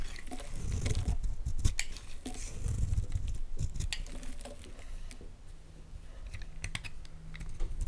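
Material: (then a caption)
Soap. A utility knife blade carves brittle flakes from the face of a solid, rectangular white Palmolive bar soap held in the hands. Irregular, crisp scraping and crackling cuts come in quick bursts, with dull low thuds underneath and sharp, bright clicks as the flakes break away.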